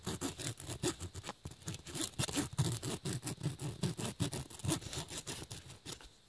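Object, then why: Woven nylon fabric bag. The metal-and-plastic tip of a braided USB cable, held in the fingers, scratches and rubs across the flat woven black nylon/polyester fabric of a bag or case. Quick, unevenly spaced scratchy strokes, roughly two and a half per second, carry a low, dull rustle under a bright, hissing grain. The strokes fade out near the end.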